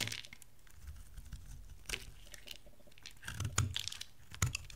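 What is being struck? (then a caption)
Bar of soap cut with a metal blade. A palm-sized oval bar of dry soap, yellow with a dark blue rim, is held in the hand and shaved into curls with a metal utility knife blade. Dry, crunchy scraping strokes crackle with bright, papery texture over soft low thumps, with a few sharper cuts standing out near the end.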